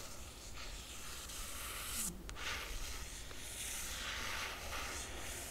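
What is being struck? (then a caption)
Laminated cardboard book cover. A long fingernail tip traces over the cover image of a closed hardcover book with a laminated cardboard cover. The result is a soft, continuous, hissy scratching with bright high texture over a faint low rumble, swelling slightly around the middle and staying fairly steady through the end.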